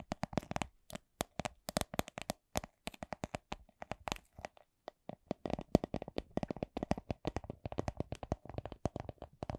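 Long nails tap on a small, hollow, soft clear vinyl (PVC) coin purse printed with a Miffy design. The result is a quiet, steady stream of short, dry, clicky taps that alternate between slower and quicker runs, each with a soft low thump and a bright crisp edge.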